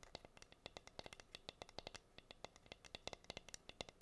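Long nails rapidly tap and scratch the bare wood of a plain, flat, solid wooden heart-shaped cutting board with a hole. About thirty-three quick, dry taps sound as bright clicks over a hollow woody knock near 540 Hz, each dying away at once with no ring. Faint scratching fills the gaps between them.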